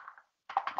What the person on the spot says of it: you shake it up. You can hear the ball inside.